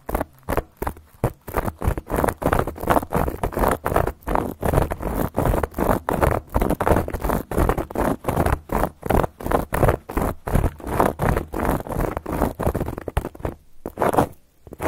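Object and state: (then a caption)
Cork board. Long gold metal claw nail caps scratch and tap across a solid, round, flat cork board. The result is a steady run of short, dry, papery scratching strokes and soft taps, each fading almost at once, with a muffled low-to-mid body and a faint gritty top.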